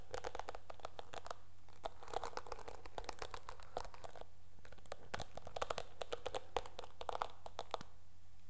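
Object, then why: Plastic hairbrush bristles. Long nails scratch across the dark bristles of a teal plastic hairbrush, producing dense bursts of quick, dry crackling and crinkly scratches that come in clusters with brief pauses. A steady low hum sits underneath throughout.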